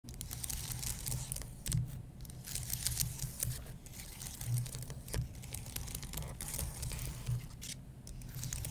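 Fingertips with medium-length, dark-painted nails scratch and tap across the plastic keys of a white, low-profile wireless keyboard with a solid, thin aluminum base. The result is a steady, crinkly, bright scratching texture broken by soft tapping clicks, all over a constant low rumble.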